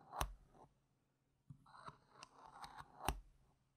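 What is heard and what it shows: A single small, solid, round plastic poker-style game chip with a yellow rim and a printed gem sticker is held by fingertips with long painted nails and moved on a fabric mat, tapping and clicking against neighbouring chips. Four sharp, bright clicks stand out, with soft sliding and rustling between them and quiet pauses around them.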